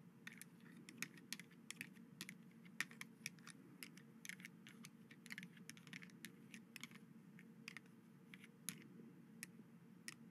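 White hollow plastic skeleton-arm grabber toys are squeezed by hand over a dark gauze cloth, so their jointed plastic finger bones click and clack together. The result is a quiet, irregular stream of short, sharp, bright plastic clicks with almost no ring, centered around 1.8 kHz, over a steady low hum.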